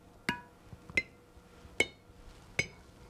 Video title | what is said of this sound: Jams and Jellies | clear ringing sound tells me that the jars are in good shape and they're completely sealed